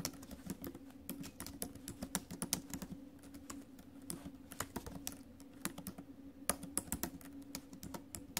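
Fingertips and acrylic nails type on the plastic keys of a silver metal laptop keyboard, producing dozens of quick, sharp, bright clicks and taps in an uneven stream. Each click dies away almost instantly, with a faint steady low hum underneath throughout.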